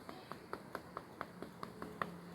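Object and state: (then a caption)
Solid genuine natural stone cladding. Natural stone cladding on a house's front pillar is tapped ten times in steady succession, each tap a short, sharp knock with a dense, solid tone and almost no ring. The solid sound shows the cladding is genuine natural stone, since fake stone would sound different.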